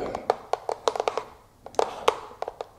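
Long fake nails tap on a wooden brush, producing a series of short, crisp clicks with a hollow woody tone around 460 Hz that die away almost instantly. The taps come in quick clusters separated by a brief pause.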